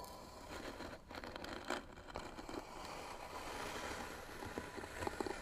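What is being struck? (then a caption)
Wooden box lid. Short fingernails scratch the lid of a hollow white wooden box with pearl-bead trim. The result is a soft, dry, steady scraping texture with a few brief, sharper scratches toward the end.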